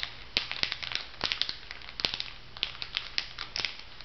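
Fingertips and nails press, rub and crinkle the plastic film of a makeup sponge pack on a paper card lying on a table. Bright, crackly crinkles and sharp little snaps come in irregular bursts, with almost no low end and each sound dying away at once.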